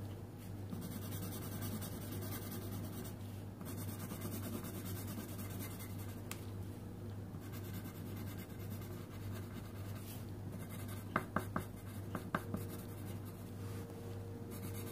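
A purple wooden colouring pencil tip rubs and scratches across a thin printed paper colouring sheet on a wooden table, while the other hand holds more pencils still. The result is a steady, quiet, soft scratchy rubbing over a low constant hum, with a few brief sharp ticks near the end.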